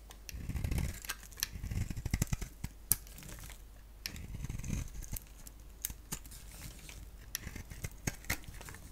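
A palm-sized solid oval bar of soap, with a black shell and bright green interior, is scraped and shaved with a box-cutter blade. Dry, crinkly scraping comes through as quick crackles and sharp high ticks, with short bursts of low rubbing rumble as the blade drags through the bar.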